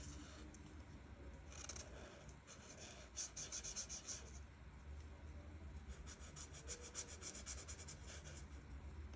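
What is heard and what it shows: The felt tip of an art marker, held in fingertips with long nails, rubs and scratches over a flat paper coloring page while coloring in teal leaves. Quiet, bright, raspy strokes come in quick back-and-forth bursts over a steady low rumble.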